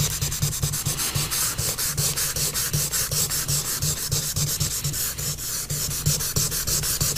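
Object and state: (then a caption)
Pastel scraped on paper. A pastel stick held in the fingers is scraped and rubbed in short strokes across a large paper sheet on a board, filling in the pupil of a drawing. The result is a fast, steady run of dry, scratchy strokes with a bright hiss on top and a soft low rub underneath.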